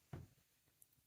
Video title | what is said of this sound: Zebra Sarasa Mark On Review | When you shake it, there's no weird rattling or anything